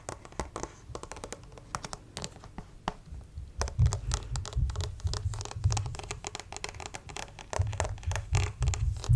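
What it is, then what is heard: Plastic acupuncture figure. Fingertips and nails scratch and tap the torso and arm of a white plastic acupuncture model doll, about 50 cm tall and apparently hollow PVC, held upright close to the mic. Rapid, irregular scratches and dry taps overlap, each with a hollow, low thump and a very short decay. The tapping grows louder and fuller from about four seconds on.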